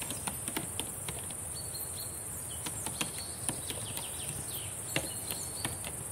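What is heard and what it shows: Long decorated nails type on a black laptop keyboard with plastic keys, making a quick, irregular series of light, sharp clicks. The taps sit over a steady high hiss and a faint low rumble.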